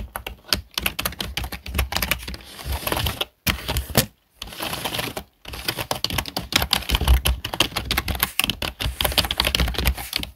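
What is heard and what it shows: Fingertips of both hands tap and type on the keys of a full-size black plastic desktop keyboard. The result is a rapid, dense stream of bright, dry clicks with soft low thumps beneath them, broken by a few brief silences around the middle. Each keystroke dies away almost instantly.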